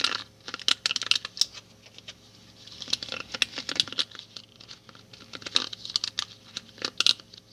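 A small handheld hairbrush with many thin wooden pins with purple ball tips on a purple plastic base is held close to the microphone. Its pins are brushed and strummed by fingertips and a thumbnail. This gives quick, bright, repeated ticking and scratching in uneven bursts with short pauses.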